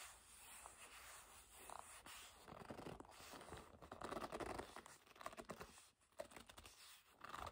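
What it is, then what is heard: Leather bag. Long nails tap and scratch the leather face of a black leather bag held upright, which sounds hollow. Soft, quiet scrapes and rubbing build into denser clusters of light taps and scratches, with a steady faint hiss underneath.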